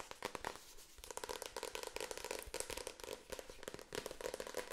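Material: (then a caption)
Paper. Long acrylic nails rapidly tap and scratch the front paper cover and spine of a medium, solid paperback book held upright. A dense, fast run of dry, crisp clicks and papery scratches with a bright, crackling edge and very little low end, each tap dying away almost instantly.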